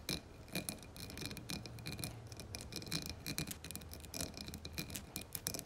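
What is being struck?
Embossed glass candle jar filled with wax.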